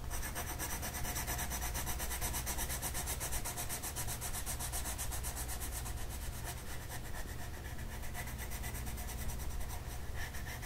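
A blue-purple colored pencil shades a flat paper mandala coloring sheet lying on a table with quick rubbing strokes. The result is a continuous, even scratchy rasp with a rapid, rhythmic pulse of bright high grain over a steady low rumble that stays at a constant level for the whole clip.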